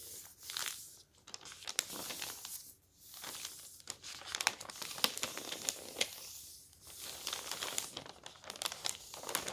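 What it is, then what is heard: Paper newspaper. Both hands fold, lift and crinkle thin newspaper sheets on a table with their fingertips. Dense, bright paper crinkling and crackling comes in bursts, separated by a few brief, quieter pauses. There is almost no low end.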